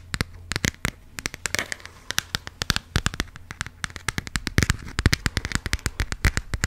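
Long pink acrylic nails tap and scratch the textured, plastic-coated cover of a small, closed burgundy passport booklet held up in the air. A rapid, uneven run of dozens of sharp, bright clicks and crackly scrapes sounds over a steady low hum.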